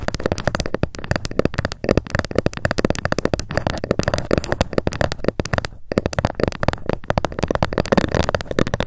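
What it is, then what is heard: Wooden ruler. Long acrylic nails tap rapidly along the top edge of a long, thin, flat, solid wooden (bamboo-like) ruler lying on a fluffy mat. The result is a dense, steady stream of quick, dry clicks with a dull low-end thud and almost no ring, broken by a brief pause near the middle.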